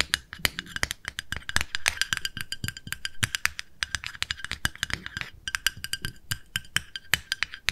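A small, round, pale pink plastic cosmetic jar with a lid is held in the hands and tapped with long nails on its lid and side. Dozens of rapid, dry, clicky taps sound in quick, uneven bursts, each bright and very short with almost no ring, over faint soft low thumps.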